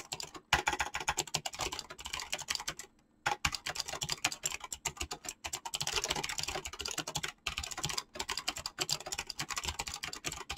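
Fingertips type fast on a mechanical keyboard with clicky switches and PBT plastic keycaps. A rapid, steady stream of sharp, bright clicks runs throughout, broken by a short pause near three seconds and brief gaps around seven and a half and eight seconds. Each click dies away almost at once.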